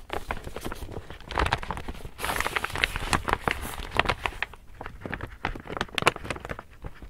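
An empty, large pink woven polypropylene reusable tote bag printed "Saw it Loved it Bought it" is held up, folded, then rubbed and patted with a palm. The result is dense, crinkly plastic rustling punctuated by quick, sharp crackling pats with a bright, papery hiss.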